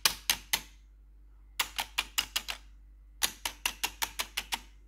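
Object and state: Plastic computer keyboard.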